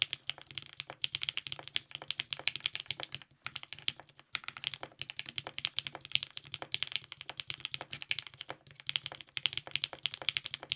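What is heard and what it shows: Continuous two-handed fingertip typing on a TGR 910 RE compact mechanical keyboard with purple GMK ABS keycaps, lubed 55g Nixie switches and a polycarbonate plate. Rapid, bright, crisp key clacks with almost no ring run throughout, broken only by brief pauses around three and four seconds in.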